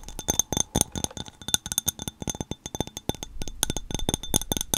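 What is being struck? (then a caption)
Small hollow glass sphere ornament. Long painted nails tap a small hand-held clear glass globe ornament, a hollow sphere partly filled with a yellow flower and granules. A rapid, irregular series of sharp, bright clinks sounds, each with a thin high ring that dies away almost instantly.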